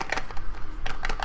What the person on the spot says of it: sounds like something in the Box